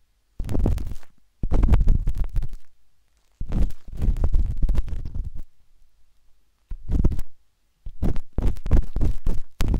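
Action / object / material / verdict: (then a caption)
scrape / silicone microphone ear scraped with a metal-tipped stick / silicone / none. A metal-tipped dot stick with a wooden handle scratches inside the soft, hollow canal of a pinkish-white silicone ear on a binaural microphone. Close, muffled scraping and deep rumbling come in bursts of rapid rubbing separated by short silences, with nearly all the energy very low and boomy.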